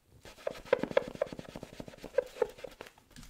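A small multicolored inflatable PVC beach ball, hollow and air-filled, is held in both hands and tapped and scratched with long acrylic nails. Quick, dry ticks and taps fall in an uneven run over soft scratching. A few taps sound a short, hollow mid pitch from the ball that dies away almost at once.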